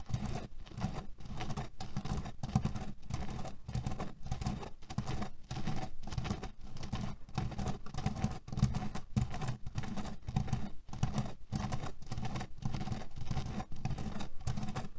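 Both hands quickly scratch and tap, with short fingernails and fingertips, a small square cotton cushion with a red cherry print, filled with loose cherry pits and lying on a table. A dense, steady patter of short, dull, low rattling clicks continues without pause for the whole clip, with almost no bright content.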